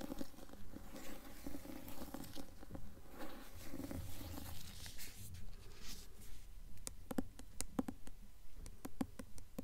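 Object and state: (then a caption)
Hardcover book with paper dust jacket. Long nails scratch and tap the front of a blue hardcover book's paper dust jacket while the book is held up in both hands. Soft, muffled rasping and papery scratching run steadily through the first half, then sharper, dry tapping clicks stand out toward the end.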